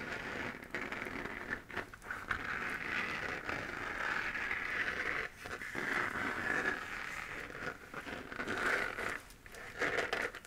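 A hollow, textured 3D-printed plastic moon-lamp sphere, glowing white and held in both hands, is scratched with fingernails. The result is a dense, continuous scratchy crackle, strongest around 1.5 kHz, with a few brief pauses between bursts.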